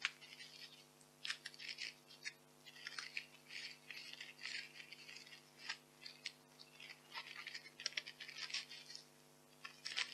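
White expanded polystyrene foam packing peanuts are crushed in fists and rubbed between fingers. The sound is a quiet, bright series of squeaky crunches and rustles that comes in uneven bursts, each one cutting off quickly. A steady low hum runs underneath.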